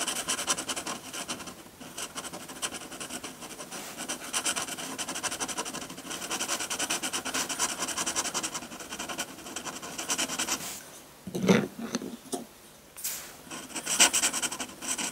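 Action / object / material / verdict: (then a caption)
scrape / textured drawing paper sheet under a metal nib / paper / none. A metal dip-pen nib scratches dense back-and-forth hatching on a sheet of textured white drawing paper, heard close up. A continuous bright, rasping scratch runs for about ten seconds, then drops to near quiet, broken by a few separate sharp strokes toward the end.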